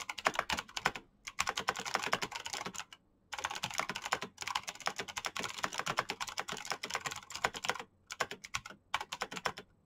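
Fingertips type fast on a black plastic mechanical keyboard with clicky switches, producing dense runs of sharp, bright clicks. The bursts are broken by brief silent pauses, and each keystroke dies away almost instantly.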